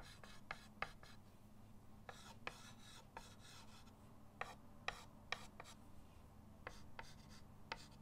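A white chalk stick held in the fingers drags long strokes across a flat, solid chalkboard in a wooden frame lying on a table. Soft, dry scratchy rasps rise and fall with each stroke, punctuated by brief, bright clicks where the chalk meets the board. A steady low hum sits underneath throughout.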